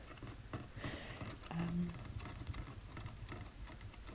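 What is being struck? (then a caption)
Wooden tabletop. A burst of quick finger taps on a wooden table that was refinished and re-stained after years of use because it was getting scratched. The taps are soft, dull and low, with short decay, forming a fast, rain-like patter over a faint hiss.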